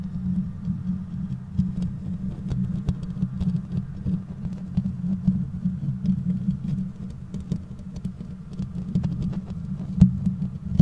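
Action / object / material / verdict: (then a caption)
scrape / metal mesh microphone grille / metal mesh / none. Long manicured nails on both hands scratch and tap the bare perforated metal grille of a black USB condenser microphone with a hollow head and no windscreen. The result is a steady, muffled, low-heavy rumble of close scratching with a dense patter of soft taps. A sharper tap stands out near the ten-second mark.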